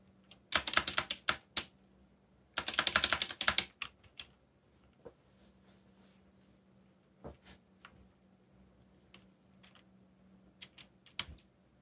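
Fingertips type on a backlit mechanical keyboard with dark plastic keycaps. Two quick, dense bursts of bright, sharp clicks come first, then scattered single keystrokes over a faint steady low hum. Each click is short and dry, with almost no ring.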